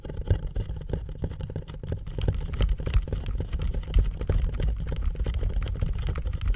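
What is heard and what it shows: A hollow white cardboard box, labeled "THE BOX" in blue painter's tape, is held up in both hands and tapped and scratched with the fingertips. The result is a rapid, continuous patter of dull, low thumps with a soft scratchy texture and almost no bright edge.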